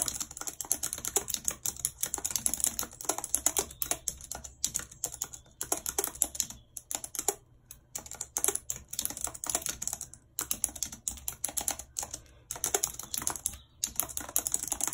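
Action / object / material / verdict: tap / plastic computer keyboard / plastic / none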